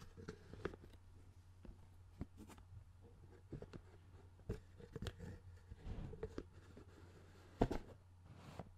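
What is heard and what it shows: A clear, hollow plastic CD spindle case with a black base and discs visible inside is held and turned in the hands while fingertips tap and rub its plastic lid. Quiet, short, dry taps and soft scratchy rubbing come through over a steady low hum.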